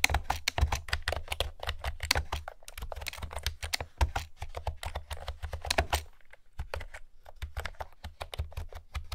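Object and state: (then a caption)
Hollow-sounding plastic round-key keyboard. Fingertips with long nails type steadily on a pastel plastic retro keyboard with round keys, producing rapid, hollow, clacky taps with bright click tops and a low thudding body. Each keystroke stops almost instantly, and the typing pauses briefly around six seconds before resuming at a lighter pace.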